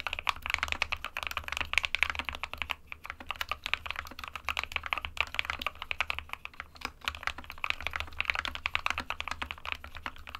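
Fingertips of both hands type continuously on a small 60% white plastic-cased SK61 mechanical keyboard with plastic keycaps resting on a desk mat. A dense, steady stream of short, bright, clacky keystrokes sounds with almost no ring, over a faint low hum.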